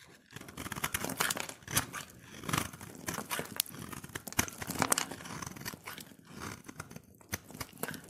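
A solid cream-white soap bar, held in the hand, is scraped with a utility knife blade, shaving off powdery flakes. A dense run of short, dry, crunchy scraping strokes fills the whole clip, with a bright, crackly hiss and no ringing after each stroke.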